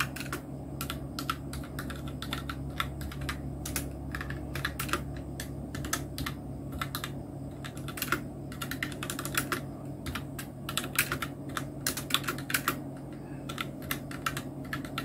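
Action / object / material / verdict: tap / plastic mechanical keyboard being typed on / plastic / none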